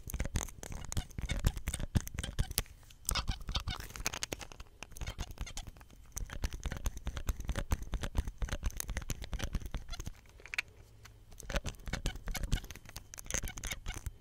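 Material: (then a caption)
Plastic. A small hollow green plastic soap pump with a ridged cap and white stem is gripped in the hand and scratched and pressed with the fingers. Dense, rapid scratching and tapping clicks run throughout, with short dry attacks and a heavy low thud underneath. Brief quieter stretches come around 3 seconds and again between 10 and 11 seconds.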